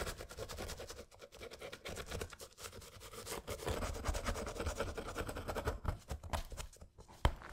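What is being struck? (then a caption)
Rubber sneaker sole caked with dried mud. A thin metal pick held in gloved hands scrapes dried mud out of the sole grooves and off the rubber midsole of a mud-caked Panda Dunk sneaker with a leather upper. The result is a steady run of dense, gritty scratching and scraping, heavy in low rumble, with a sharp louder click near the end.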